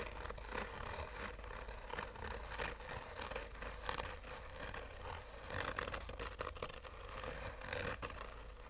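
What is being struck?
Fabric-covered hard-shell sunglasses case.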